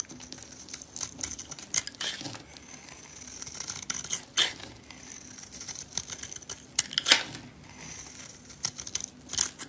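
A solid green oval bar of soap, held in a hand with long dark nails, has its surface scraped into shavings with a metal blade. The scraping is a dry, crisp, crackly rasp that is bright with almost no low end, coming in irregular strokes with a few louder, sharper scrapes standing out.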